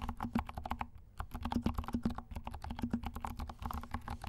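Fingertips from both hands tap and press the black and pink plastic keycaps of a compact mechanical keyboard with silent switches. The result is a rapid, steady stream of soft, muted clicks with a low, thocky body and little high-end sparkle, with a brief pause about a second in.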